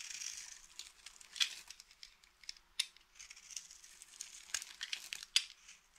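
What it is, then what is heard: Dry soap bar being scraped. A small, solid mint-green dry soap bar, held in the hand, is scraped and carved with the metal blade of a green utility knife, shaving off flakes. Quiet, dry, bright scratching and crumbly crunching come in short bursts, with several sharper cracks standing out. The sound is almost all high-frequency hiss with no low end.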